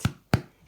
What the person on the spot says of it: if you tap it it should sound hollow